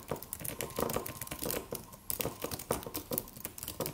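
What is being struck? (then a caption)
Aluminium keyboard with plastic keys. Fingertips of both hands tap in a typing motion on a slim silver aluminum computer keyboard with white plastic keys and a solid, low-profile body. A fast, uneven run of light, crisp clicks and clacks sounds with a mid-range tone, bright edges and very short decay.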